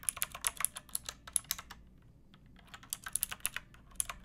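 Fingertips with long painted nails type on a pink backlit plastic mechanical keyboard with round typewriter-style keycaps and a hollow case. Quick, bright, clicky keystrokes come in a burst, stop for about a second, then resume, each press short and crisp with almost no ring.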